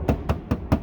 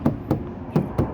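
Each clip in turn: First: undamped car body panel, resonant. Second: car hood with butyl sound deadening, damped.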